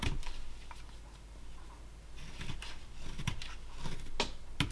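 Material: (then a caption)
Basswood. A small solid basswood block held in a gloved hand is whittled with short knife cuts. Each cut gives a quick, dry scraping click as the blade shaves the wood, and the cuts come in uneven bursts over a low, steady background hum.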